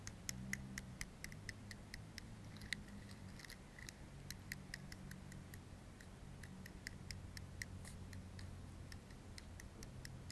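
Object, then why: Metal aerosol can and plastic comb. The teeth of a black plastic comb are raked across the metal body of a blue-capped aerosol deodorant can held in one hand. This produces a steady series of sharp, brief ticks that ring around 2 kHz with bright upper edges. A low rumble sits underneath throughout.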